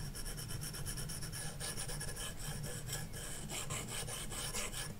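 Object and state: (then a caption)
Stylus scratching on a matte-protected glass tablet screen. A plastic stylus tip rubs rapidly back and forth across a large iPad glass touchscreen fitted with a matte screen protector film, shading an area. The result is a continuous, rhythmic rasping scratch with bright, hissy strokes over a steady low hum.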